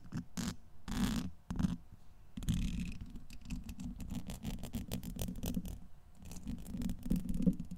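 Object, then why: Steel wire-mesh microphone grille. A pointed black brush handle, held in the fingers, is scratched back and forth over the hollow domed steel wire-mesh grille of a large USB microphone. Rapid, rhythmic scratching strokes sound heavy and rumbling in the low range, with brief airy bursts that reach bright and high.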